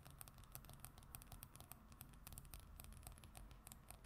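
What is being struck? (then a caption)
Glossy paper magazine cover on wood. Long acrylic nails on both hands scratch and tap a flat glossy paper magazine cover lying on a wooden surface. The sound is quiet, with a steady low, soft hum under a rapid patter of short, bright, dry clicks and scratches.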